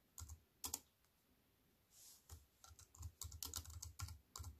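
Fingertips with long white-painted nails type on a slim wireless keyboard with a silver aluminium frame and black plastic chiclet keys, resting on a wooden table. Quick, irregular key clicks with a bright tap and a soft low thud come in scattered bursts, with a brief soft hiss in a pause midway.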